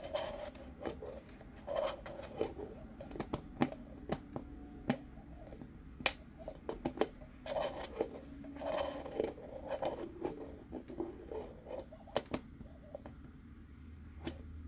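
A hollow white plastic cup with a screw lid is unscrewed and screwed back on by hand, its plastic threads grinding against each other. Quiet, dry scraping and ticking fill the clip, broken by sharp, brief clicks that carry up into bright highs. The sound is close and intimate, with almost no lingering ring.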